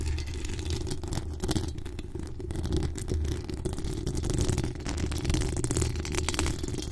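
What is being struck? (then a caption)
Steel mesh microphone grille. Long acrylic nails scratch the hollow steel mesh grille of a pink decorated microphone, producing a continuous low rumbling scrape with a steady hum near 74 Hz. Dense, fast scratching strokes keep the texture rough and unbroken, with faint high rasping edges over the heavy low end.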